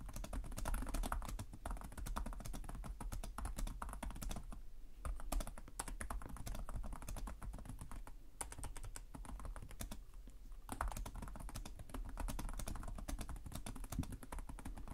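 Fingertips with short nails type rapidly on the plastic chiclet keys of a black laptop resting on a desk. The result is a steady stream of quick, dull key clicks with little ring, weighted toward a low thump, pausing briefly a few times before the typing resumes.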